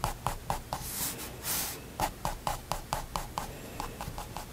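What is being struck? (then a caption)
Fine-liner pen on a paper sketchbook page. A fine liner pen makes hatching strokes on a white spiral paper sketchbook resting on a wooden desk, drawing hamster fur. About sixteen quick, dry scratching ticks come in a steady rhythm, with a pause filled by a brighter, longer swishing stroke across the paper. The result is a soft, close, papery scratching texture.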